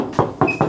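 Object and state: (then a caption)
Steel car body panel, bare metal with no body filler. Three knocks on the steel body panel of a classic American muscle car give short, solid low-mid thuds with a quick decay. The sound shows the panel is bare metal with no body filler, which comes from the quality of the workmanship and the thick American steel.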